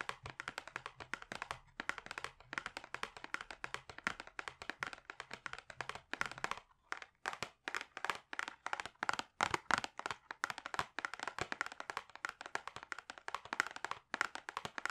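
Fingertips and short nails tap rapidly on the front face of a flat, rigid, hand-sized hollow cardboard cosmetics palette box with a pink gradient, held upright in both hands. The taps are dense, quick, dry clicks with a bright hollow tone around 1.4 kHz and almost no low end. Each stops almost instantly, with brief pauses between bursts.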